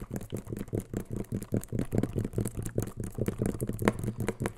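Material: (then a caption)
Plastic. Fingertips and rings tap the body of a clear plastic spray bottle with a white trigger head, hollow and seemingly mostly empty, held close to the mic. The taps come in a quick, uneven patter of dull, hollow knocks with a low tone near 200 Hz that die away almost at once. Occasional brighter clicks ring out among them.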